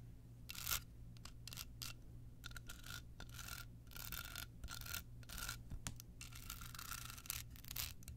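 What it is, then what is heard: Rhinestone-covered card holder scratched with nails. Long pointed nails scratch a small, hollow, rectangular card holder covered in clear rhinestones with a red bow, held in the hand. Quick, bright scratching bursts come in irregular clusters, with a faint glassy ring around 1.4 kHz, over a steady low hum.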